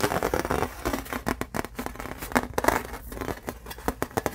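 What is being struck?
Thin embossed aluminum plate.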